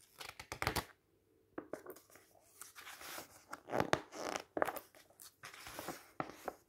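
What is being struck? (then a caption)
Softcover book with glossy paper pages. Fingertips lift, rub and turn the glossy photo pages of an open softcover book lying on a table, one page at a time. Crisp, crinkly paper rustles and sharp flicking snaps carry bright edges over a papery midrange, with a short quiet pause early on. The page turns come in quick, uneven bursts.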